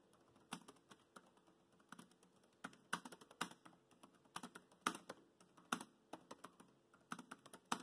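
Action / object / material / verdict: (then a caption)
tap / plastic laptop keyboard keys / plastic / none. Bare fingertips of both hands type on a dark grey laptop's black plastic chiclet keys set in a grey plastic deck. The result is a quiet, irregular run of short, dry clicks and taps with a bright edge and almost no ring, some strokes landing harder than others.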